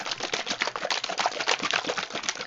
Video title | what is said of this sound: /britfeel/ radio Episode 17 - Where's the Crack(y)? | that is still really quiet